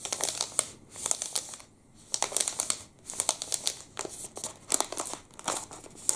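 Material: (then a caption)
Plastic. A full, long black and red plastic wrapper of a Pepe liquorice stick is crinkled and rubbed with the fingertips. Bright, crackly crinkles come in uneven bursts with brief quieter pauses between them, and there is almost no low end.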